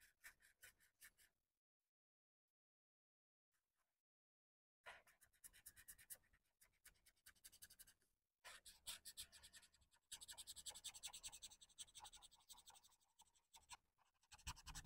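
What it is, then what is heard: Marker scratching on a paper page. A felt-tip alcohol marker is rubbed and scratched back and forth across a thin printed coloring book page with a kawaii dessert drawing, the open book lying flat on a wooden table. Quiet, bright, dry scratching strokes come in rapid bursts, broken by a long pause near the start, then continue as steady, dense scribbling.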